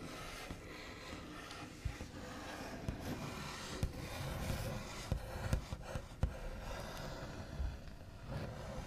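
The backs of fingernails slowly rub and trace across the large, solid, smooth top of a white-finished wooden table. A steady, soft, scratchy rubbing hiss continues throughout, weighted toward a low, dull hum. Occasional sharper brief ticks stand out from the rubbing.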